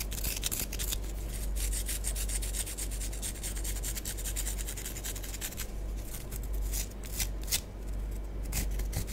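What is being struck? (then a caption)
Pressed-powder bath bomb. Long nails scratch the surface of a small, solid, orange pressed-powder bath bomb held in the hands. The result is a steady stream of quick, bright, dry rasping strokes over a constant low hum, with slightly louder scrapes near the end.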